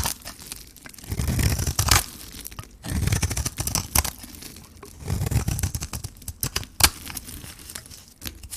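A metal blade shaves the pink coating and the white core off a hand-held solid bar of dry soap. Each stroke gives a gritty, crunchy scrape with a low, dull body and a bright crackle on top, and the strokes come in several swelling bursts with short quieter gaps between them. One sharp crack stands out near the end.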